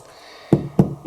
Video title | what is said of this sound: Pain artisanal avec farines anciennes | On tape derrière. Ça sonne creux. C'est tout bon.